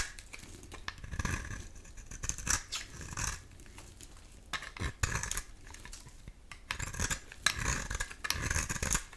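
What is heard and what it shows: A metal utility-knife blade scrapes along a solid cream oval bar of soap held in the hand, shaving off curls. Repeated crisp, raspy strokes come in bursts with bright, papery scraping and a soft low thump beneath, each stroke stopping dead with no ring.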